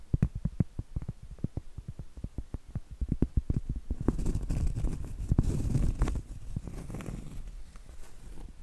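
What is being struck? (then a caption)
Cork trivet. Long acrylic nail tips tap quickly and irregularly on the face of a round solid cork trivet near its edge, which is tilted toward the camera, making dull, low, short knocks. Around the midpoint the nails switch to scratching the cork, giving a denser, rougher rasp with faint brighter hiss, then settle into softer scratching with a few scattered taps.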